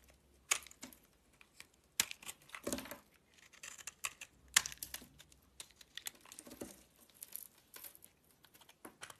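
A box-cutter blade shaves flakes off a solid green bar of soap held in the hand. Crisp, bright scraping and crackling strokes come in irregular bursts with sharp onsets and very little low end, separated by short quiet gaps.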